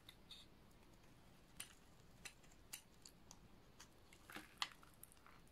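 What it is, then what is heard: Dry bar soap being shaved. A hand-sized, solid bar of dry, purple-and-white striped soap is held in one hand and shaved with a snap-off utility knife blade. Quiet, scattered, sharp, bright crunches and scrapes sound over a low background hiss. Crunchy flakes fall onto the table.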